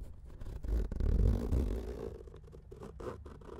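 Short manicured nails slowly scratch and rub the top of a closed grey woven-fabric hard-shell keyboard carrying case lying on a felt mat. The result is a soft, dull, continuous scratching and rustling with a heavy low rumble. It swells in the middle of the clip, then fades to quieter rubbing.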